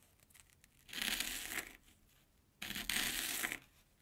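An airy Banana Kick corn puff stick lying on an orange plastic board is chopped with a steel kitchen knife. Two separate bursts of bright, airy crunching and crumbling are heard, each lasting under a second with quiet pauses around them.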